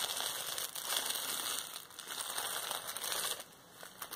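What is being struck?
Plastic bubble wrap roll.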